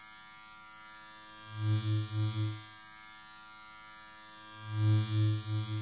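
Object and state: Nothing is struck.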